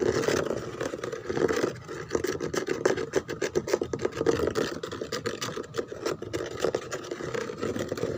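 Long fingernails scratch and scrape across the raised rose pattern and holes on the back of a white molded plastic chair. The result is a steady run of quick, dry scratching strokes with a midrange rasp and brief bright clicks, each stroke fading almost at once.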